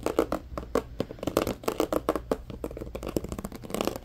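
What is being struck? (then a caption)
Plastic compartment organizer box. An empty, medium-size, hollow, transparent plastic compartment organizer box is tapped and scratched with fingertips and nails. The result is a rapid, irregular run of short, dry, hollow clicks and taps centered in the midrange, with faint scratchy texture between them and almost no ring.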